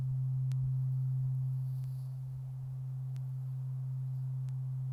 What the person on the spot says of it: we're just going to give it one good ring and listen to it ring out